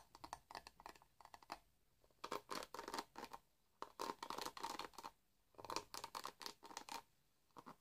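A hand-sized black plastic paddle hairbrush with dense bristles is held in the hands while fingertips and nails scratch and brush along its bristles. The result is bursts of dry, crackly scratching with bright, high-reaching texture, separated by short quiet pauses.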